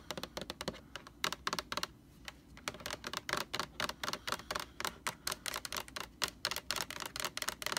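Long nails tap rapidly on the sides and edges of a large white plastic Lysol laundry sanitizer jug held in both hands. The taps are dry, bright clicks in quick irregular bursts with brief pauses, each one dying away almost instantly with little low end.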